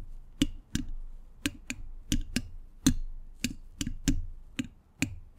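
Metal thimbles on all fingers tap and scratch the hollow, domed steel mesh grille of a large condenser microphone. Thirteen sharp, clicky taps land at an uneven pace, each with a brief hollow ring near 260 Hz and a bright metallic tick on top. Between the taps, a soft scratchy rustle fills the gaps.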